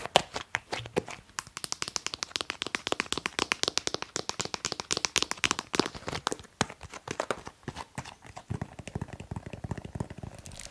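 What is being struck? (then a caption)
Plastic cosmetic bottle. A blue semi-transparent 200 ml plastic cosmetic bottle with a cap, held in both hands, is tapped rapidly with long manicured nails. The result is a dense run of dry, bright, clicky taps with no ringing after each hit.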